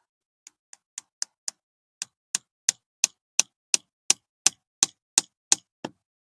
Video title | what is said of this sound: How to Tap Maple Trees for Homemade Syrup: Easy DIY Guide | Once you hear a thud, it's in there.